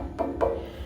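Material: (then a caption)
Granite. Two taps on the edge of a white granite countertop give short, glass-like rings pitched around 460 Hz that fade within about a tenth of a second. The stone rings clear and sound solid.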